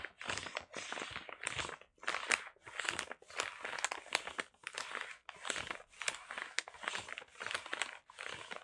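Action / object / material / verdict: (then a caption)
scrape / paper-wrapped package / kraft paper / none. A flat package wrapped in brown kraft paper is held in both hands while fingertips scratch, rub and tap its surface. The paper gives off close, bright crinkling and scratchy rustling in repeated short bursts separated by brief pauses, with sharp taps scattered through them.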